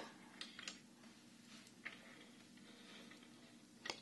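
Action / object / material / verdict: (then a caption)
flick / wooden abacus with wooden beads / wood / none. Fingertips with long nails flick and slide the red wooden beads of a wooden Chinese abacus lying flat. Four short, bright clicks ring out with quiet pauses between them. A faint, steady low hum runs underneath.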